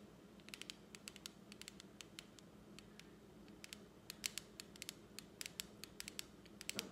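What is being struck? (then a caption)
Clear plastic lid of a lipstick palette. Long acrylic nails tap and scratch the clear lid of a small plastic lipstick palette, which is propped open. A quick, irregular series of sharp, bright clicks and faint scratching sounds over a low, steady hum, with each tap stopping instantly and leaving no ring.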